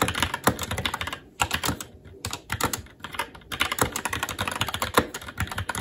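Fingertips of both hands type continuously on a SteelSeries Apex 7 TKL mechanical keyboard with red linear switches, plastic keycaps and a metal top plate. Rapid, bright plastic clacks with short, dry decay come in dense bursts, separated by a few brief pauses.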